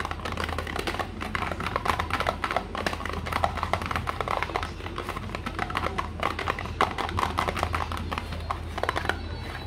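Fingertips and nails tap rapidly on the sides and top of a small, hollow, printed cardboard multivitamin box. The result is a dense, continuous run of light, dry, hollow clicks and papery taps that die away almost instantly, over a steady low hum.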